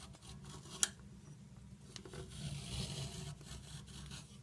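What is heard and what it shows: A metal peeler scrapes along a large solid orange chalk or crayon stick held on a marble surface, carving off ridged shavings and crumbly orange chunks. Quiet, steady rasping fills the clip over a low hum, broken by one sharp, bright click early on and a fainter tick a second later. The scraping swells a little louder in the middle before easing off.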